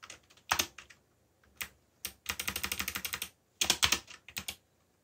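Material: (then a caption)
Plastic. Fingertips press the keys of a backlit mechanical computer keyboard with black plastic keycaps, typing in irregular bursts. About 22 short, bright, clicky taps are heard, with a quick run in the middle and pauses between groups. Each tap dies away almost at once.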